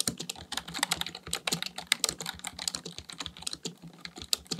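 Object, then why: Plastic membrane computer keyboard. A black plastic full-size Dell KB1421 membrane desktop keyboard with a hollow housing, resting on a desk, is typed on continuously with the fingertips of both hands in a rapid tapping action. The result is a fast, uneven stream of short, bright, clicky keystrokes with dull plasticky thuds beneath. Each tap dies away almost instantly.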